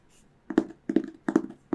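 A hardcover Winnie the Pooh book is tapped in quick pairs of soft, dull taps, each one short and muted with almost no ring. The knocks are mid-pitched and hollow, with little deep bass or high brightness.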